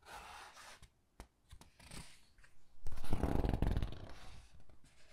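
Fingertips with long dark painted nails grip, squeeze and flip the thick glossy paper pages of a large hardcover Titanic book lying open. Soft papery rustles and short crisp taps come first, then a denser, louder burst of crinkling and flapping as pages turn, settling back into quieter rustles.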